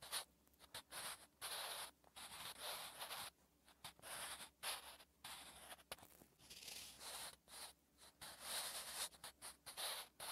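A sharpened wooden graphite pencil is drawn across a thin, flat lined page of a spiral notebook while writing Korean letters. It makes a quick series of short, dry scratching strokes with bright, hissy texture, separated by brief silences, and almost no low end.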